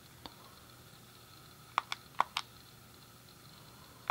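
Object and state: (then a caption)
Plastic game controller buttons. A thumb clicks the D-pad and fingertips press the face buttons on a hand-sized, hollow grey plastic SNES game controller. Six short, sharp plastic clicks come at irregular intervals, with four bunched closely near the middle. They are quiet and bright, centred around 1 kHz, and die away instantly over a faint steady background hiss.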